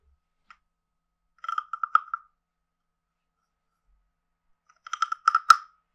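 A hand-sized, carved, hollow wooden frog guiro with a ridged back is tapped and scraped with a wooden stick, giving short, dry, hollow wooden clicks with a steady mid-pitched tone around 1.3 kHz. A faint single tap is followed by a quick cluster of clicks, a pause of silence, then a second cluster ending on the loudest, brightest tap. Each click stops almost instantly with no ringing.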